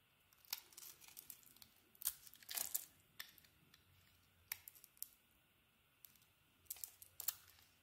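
A metal craft blade shaves and carves white curls off a palm-sized solid purple bar of soap with a silver heart pattern, held in one hand. Crisp, bright scraping and crackling strokes come in quick bursts, each dying away almost at once, with soft, faint scratching between them.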